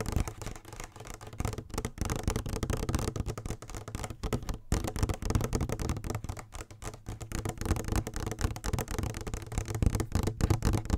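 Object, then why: Plastic pump bottle. Long nails tap and scratch a medium-sized yellow plastic "clean beauty" lotion or shampoo bottle with a pump top, held in both hands; the bottle is hollow and apparently filled. It makes a steady stream of quick, irregular taps and scrapes, about four a second, with a dull, low-heavy, close-up sound and very short, dry decays.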